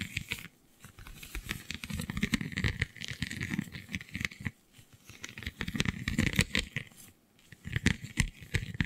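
Long nails scratch across the raised, scale-like bumps of a flexible, iridescent holographic vinyl sheet. The result is dense, crackly scratching with a soft low rumble underneath and bright crinkly ticks on top. It comes in several bursts separated by brief near-silent pauses.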